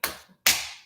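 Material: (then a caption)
Concrete. A hand slaps a concrete apartment wall twice, each strike a sharp, bright smack with a short decay. The wall sounds solid, as a concrete wall should for insulation.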